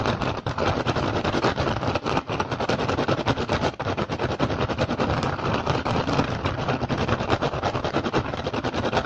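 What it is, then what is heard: Woven rattan basket. Both hands tap fast with the fingertips and scratch with the nails on an upturned, hollow, empty woven rattan basket. The result is a dense, continuous stream of dry crackling taps and scrapes that runs steadily with almost no pauses.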